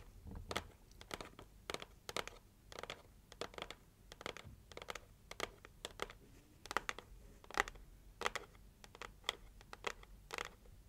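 Long nails scratch and tap the lid of a closed, red printed, heart-shaped cardboard gift box. The result is a quiet, irregular run of short, dry, bright scratching and tapping bursts with very little low end, each dying away almost at once.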